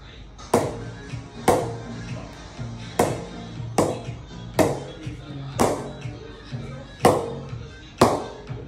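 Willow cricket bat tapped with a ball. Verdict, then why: Good ping. A pink ball is tapped repeatedly on the face of an MRF Virat Kohli Edition Chase Master willow cricket bat in a ping test, with loud music playing over it. Each tap gives a sharp, bright ping that rings briefly around 500 Hz, showing the bat has a good ping.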